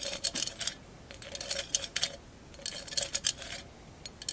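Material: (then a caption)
Glass. Long acrylic nails rub and scratch across the mirror mosaic tiles covering a hollow glass candle holder. Bursts of bright, crisp clicking and scraping come in quick clusters separated by short pauses, with a faint tonal ring near 550 Hz under the high, glassy scratching.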